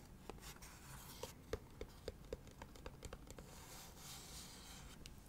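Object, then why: Cardboard gift box. Long nails tap rapidly on the side panel of a hollow leopard-print cardboard gift box held sideways. The result is a quick, uneven series of short, dry clicks, each with a brief hollow knock in the midrange, over a faint low background hiss.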